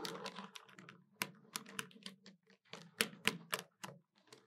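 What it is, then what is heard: Plastic desktop calculator keys tapped. Long white nails tap the keys of a hollow black plastic desktop calculator in a quick, uneven run. Each tap is a short, dry click with bright high edges over a hollow low body that dies away almost at once.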